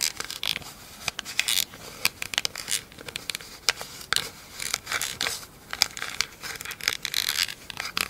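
Long acrylic nails tap and scratch the top and ridged rim of a round, hollow, empty pink plastic lid. The result is a quick stream of dry, bright clicks and scratchy, crinkly bursts with almost no low end, each tick dying away instantly.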